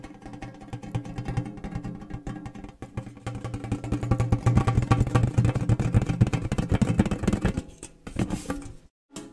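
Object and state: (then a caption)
Round metal cookie tin. A round, hollow, red printed metal gingersnap cookie tin with its lid on is held up and tapped rapidly on the lid with fingernails and fingertips. The dense, uneven run of quick taps gives off a low, hollow drumming resonance with short, dry clicks. It builds louder midway, thins briefly near the end, bursts again, and then cuts to silence.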